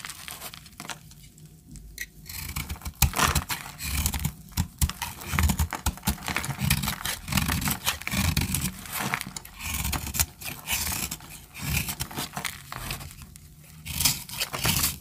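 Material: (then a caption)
Soap. A utility knife blade cuts into a solid, rounded orange bar of dry soap held in the hand, chipping off crumbly chunks. Dense, dry crunching and scraping crackles continuously, with bright, crisp edges over soft low thumps. The soap breaks away in brittle pieces with each stroke.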